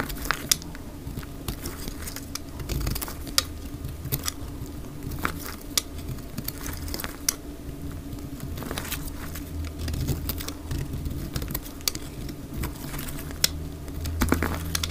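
A utility knife blade shaves the surface and edge of a dry lavender bar soap held in the hand. Short, crisp scraping clicks and bright crackles sound over a steady low hum. The cuts are brief and dry, with almost no ring after each stroke.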